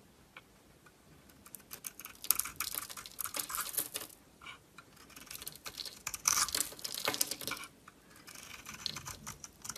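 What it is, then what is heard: Bar of soap being shaved. A solid Dalan bar of soap with a gold coating and a green core is held in the hand and shaved with a metal utility knife blade. Crisp, bright scraping and flaking sounds come in dense bursts, separated by short quiet pauses between passes of the blade.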